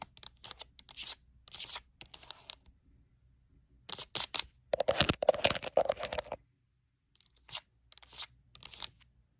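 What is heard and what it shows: Long nail tips tap quickly on the top face of a pink rectangular plastic lotion bottle, seen from the pump end. Bursts of crisp, bright clicks come in uneven clusters with short pauses between them. The busiest, loudest flurry lands around the middle of the clip.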